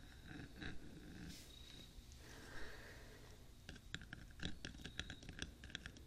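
Fingertips and short nails of both hands tap and scratch along the top of the hollow black rectangular metal body of a 3Dio binaural microphone, set between its two white silicone ears on a stand. Soft, breathy scratching and faint possible whispering or breathing over a low rumble give way to a run of sharp, bright, irregular taps that ring only briefly.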